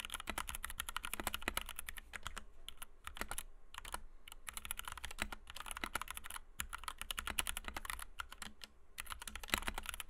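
Fingertips of both hands type rapidly on a compact white 60% Kemove DK61 mechanical keyboard with Gateron Red switches, PBT doubleshot keycaps and a plastic case, resting on a desk mat. A dense, steady stream of short, crisp keystrokes is heard, each a bright clack over a low thud, dying away almost instantly. The typing runs in quick flurries with brief pauses throughout.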